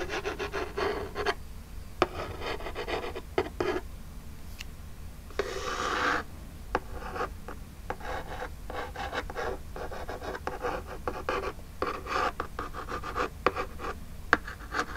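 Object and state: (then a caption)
Cardboard box being scratched. Long jeweled nails scratch and rub the lower front of a small, flat, hollow printed Birchbox cardboard box. The result is dry, rasping scrapes in short bursts with brief pauses, broken by occasional sharp clicks from the nail tips.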